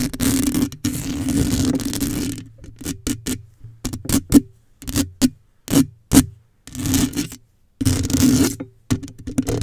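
Long nails scratch across the black wire-mesh dome of a microphone grille held at its base, making close, raspy scraping with a steady low hum around 266 Hz. It opens with a long continuous scratch, breaks into a run of short, quick strokes separated by silence, then returns to longer rasping scrapes.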